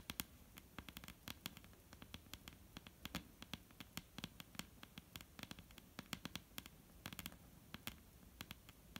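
Long painted nails of both hands tap and lightly scratch a solid, dark brown wooden table top. Quick, dry, bright clicks come in uneven runs over a soft, continuous scratching, and each tap dies away at once with no ring.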